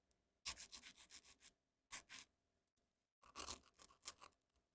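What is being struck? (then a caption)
Amaretti biscuit. A small, round, dry amaretti biscuit, solid and crumbly, is held over a wooden mortar and rubbed and crumbled between the fingertips, and a second biscuit is in hand by the end. Three bursts of bright, dry, crackly rubbing come through, each made of quick gritty scrapes, separated by short quiet pauses.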